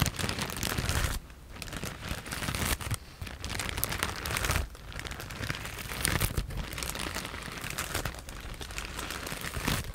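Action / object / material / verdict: scrape / plastic bag filled with foam packing pieces / plastic, foam / none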